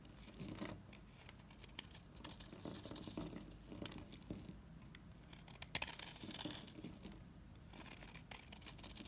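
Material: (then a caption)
Soap. A knife blade cuts and scrapes a dry, solid, mint-green oval Savoy bar soap, peeling off crisp shavings. The sound is a quiet, bright, crackly scraping with short tearing bursts and a steady dry hiss between strokes.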